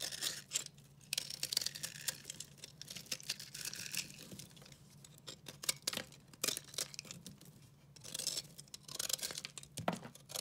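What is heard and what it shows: A hand-held oval bar of dry, solid, white-and-purple recycled soap is scraped and shaved with a metal utility-knife blade with a red handle, and flakes fall onto a pile of soap shavings. Bursts of bright, dry, crumbly scraping and crunching come in quick strokes, separated by brief quieter pauses, over a faint low hum.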